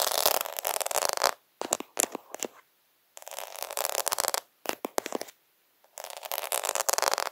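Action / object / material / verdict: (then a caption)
scrape / plastic half-pearl sticker sheet / plastic / none. Fingertips rub and scratch across the beads of a plastic faux half-pearl sticker sheet, making dense, bright scratchy rustling. The rustling comes in bursts with short sharp clicks between them and brief silent gaps.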